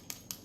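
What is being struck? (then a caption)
Microphone arm desk clamp bracket. Two short, bright metallic clicks from the sturdy metal desk clamp bracket, the base mount of a Neewer NW-700 microphone arm kit, as it is handled. Each click is sharp and high-pitched, ringing briefly before fading quickly into quiet.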